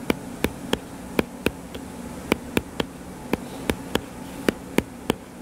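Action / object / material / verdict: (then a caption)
tap / paperback book cover / paper / none. Fingertips tap rapidly on the cover of a solid, purple-covered paperback book lying flat. Fifteen short, dry taps land at uneven intervals, each one crisp and sharply clipped with almost no ring. A low, steady hum runs underneath throughout.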